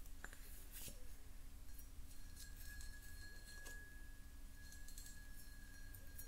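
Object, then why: Pressed glass jar. Long painted nails tap and scratch the outer surface of a medium-sized, hollow, empty clear pressed-glass jar with a ribbed, beaded pattern, held in both hands. Faint, short glassy clinks and light scratching sit over a steady low rumble, with a thin high tone lingering in the background.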